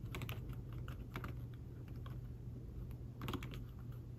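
Fingertips and short nails type on a thin folio keyboard with fabric-covered keys, attached to a tablet resting on a table. Soft, muffled tapping comes in quick bursts over a steady low hum, with brighter clicks that fade fast.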